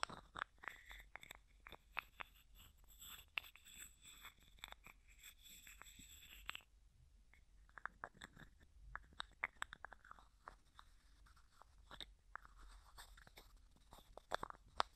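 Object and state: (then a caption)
Small plastic jar lid tapped and scratched. Fingertips and nails rapidly tap and scratch the white plastic screw lid of a small, hollow, clear plastic cosmetic jar with a few small items inside. The result is a quiet, steady stream of crisp, bright clicks and scratchy rustles, with a faint high hiss through roughly the first half that then drops away.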